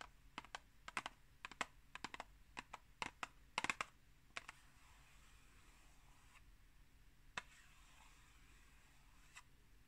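Long green acrylic nails tap and scratch the face of a tall, rectangular, hollow Pukka tea box made of printed cardboard, held upright in one hand. Quick, sharp, bright clicks come in a dense run during the first half, then give way to a soft, steady scratching hiss with a few isolated taps. Each tap dies away almost instantly.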